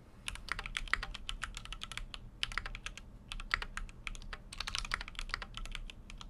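Fingertips of both hands type continuously on a full-size Keychron Q6 mechanical keyboard with an aluminum case and plastic keycaps. Rapid, crisp, bright keystrokes clatter in quick bursts separated by brief pauses. Each click is short and dry over a faint, steady low hum.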